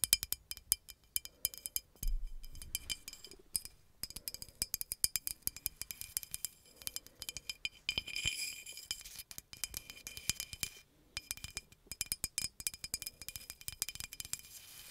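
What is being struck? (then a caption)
Glass bottle. A hollow green glass bottle with a paper label is tapped and clinked rapidly with long acrylic nails. The result is a dense stream of short, bright glassy clicks and clinks with a high ring that dies away almost instantly, over a quiet background.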